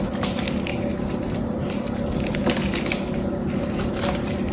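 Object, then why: Bar of soap. A small blade scrapes the metallic paint coating off a solid blue bar of soap held in the hand, shaving the surface into crumbs. A steady, dense run of crackly scraping and crunching continues throughout, with a few brighter clicks standing out.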